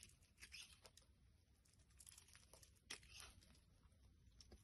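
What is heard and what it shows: A box-cutter blade scrapes a solid pink translucent soap bar held in the palm, peeling off curls. Quiet, bright, crisp scraping and crackling strokes overlap over a low steady hiss, each dying away almost instantly with no ring.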